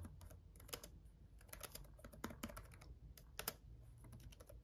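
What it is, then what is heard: Plastic laptop keyboard. Fast fingertip typing with both hands on a black laptop keyboard with red backlit plastic keys. A quiet, rapid patter of short, dry, bright clicks rides over a steady low hum, with a few sharper taps standing out.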